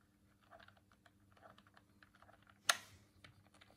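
A hollow white plastic Dreamcast controller is held in both hands while the thumbs click its face buttons and tap the shell. Quiet, soft plastic clicks and taps patter throughout, broken by one sharp, bright click near the end that dies away almost instantly.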